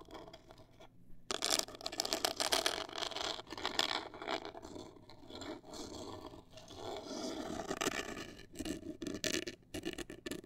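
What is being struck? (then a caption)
Rigid cardboard box. A hollow black printed rigid cardboard cosmetic box, held upright, is scratched with long acrylic nails. The result is a dry, bright scraping and scratching texture in quick bursts, with short pauses between strokes.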